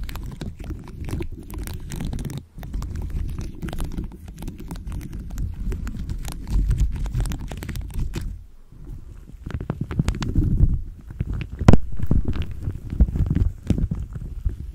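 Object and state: Rhinestone-studded microphone cover.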